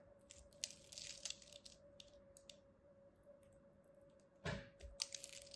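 A small metal blade carves the scored surface of a solid, palm-sized pink bar of soap into crisp chips. Quiet, bright crackling and crunching ticks come in scattered bursts over a steady low hum, with a louder crunch near the end.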